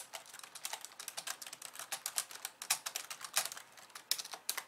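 Long polished nails type with both hands on the plastic keys of a compact pink and white plastic computer keyboard. Quick, irregular clicks and taps follow one another with short, dry decays. The sound is bright and thin, with almost no low end.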